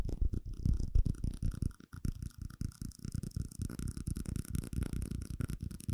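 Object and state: Clear plastic cup, tapped.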